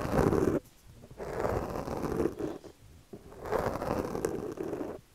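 A yellow plastic comb held in the fingers scratches and rakes its teeth across a soft, porous black foam windscreen on a microphone, with the other hand steadying the mic. The result is close, gritty scraping in broad rustling bursts of about a second or two each, separated by quiet gaps.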